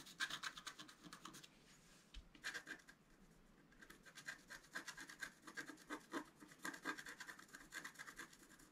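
A thin wooden stylus scratches many short strokes across a flat, thin, solid A4-sized scratch-art card with a black coating, while the other hand steadies the card. Quick bursts of dry, bright rasping come in uneven runs, with brief quieter pauses between them.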